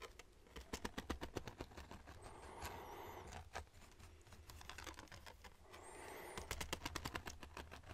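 A red folding hand fan, apparently with wooden ribs and a fabric leaf, is held open in front of a microphone while fingertips run across and flick the rib edges. Bursts of rapid, dry clicking taps open and close the clip, separated by a softer, breathy brushing stretch in the middle, all over a steady low hum.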